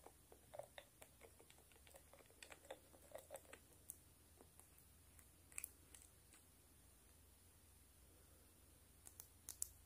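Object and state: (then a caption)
Glass nail polish bottle tapped with nails. Long stiletto nails tap and scratch a small glass nail polish bottle with a shiny green cap, on both the glass and the cap. The result is a quiet series of sharp, bright clicks with brief scratchy strokes, each dying out almost instantly over a faint steady low hum.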